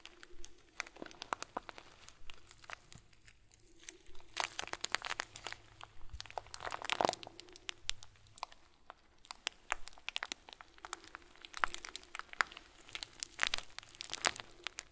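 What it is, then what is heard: Plastic bag of small plastic beads. A hand-sized clear plastic bag filled with many small white plastic pearls is squeezed and crinkled with bare fingertips of both hands. The result is dense, quiet crinkling with sharp, bright crackles and beady crunches, coming in uneven bursts with a brief lull near the middle. A faint low hum runs underneath.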